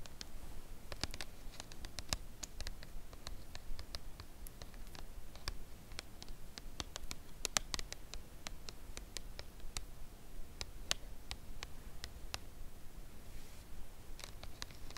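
Long acrylic nails tap and scratch the face of a red Lindt Lindor cardboard chocolate box lying flat on a velvet cloth. Soft, dry clicks come at a slow, irregular pace, each a sharp, bright tick that dies out instantly. Faint scratching and a low, steady rumble sit underneath.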